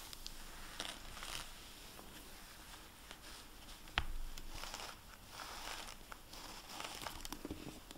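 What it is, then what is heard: Hardback book with plastic-covered dust jacket. A hardcover library book, *The Last Juror*, lies on a table while its plastic-covered dust jacket is wiped and rubbed under the fingers with a dry microfiber cloth. Soft patter and rubbing mix with bright crinkling swishes over a low rumble, and one sharp tap stands out midway.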